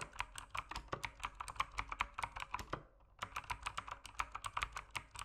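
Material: Plastic.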